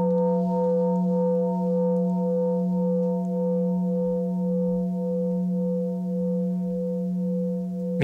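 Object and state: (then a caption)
Hand-forged temple orin bell bowl ringing. A hand-forged temple orin (keisu) bowl, whose balance of tones is tuned by hand-hammering during forging, rings on after being struck. A steady low hum and several higher overtones sustain evenly, with a slow, regular wavering pulse. A brief sharp click sounds at the very end.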